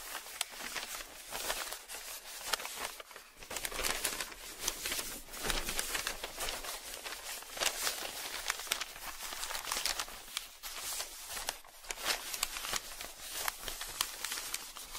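Bare fingertips fold, crease, slide and lift a thin newsprint comics page, a large flat sheet held over an open newspaper spread on a table. The result is steady, bright paper crinkling and rustling with crisp crackles and almost no low end, rising and falling in soft waves throughout.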